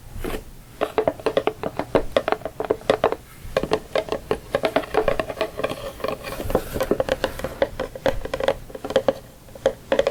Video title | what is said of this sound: ASMR Tapping *More Santa Box!* | it kind of makes sticky sounds almost that's even though it's a cardboard box it sort of has a plastic type surface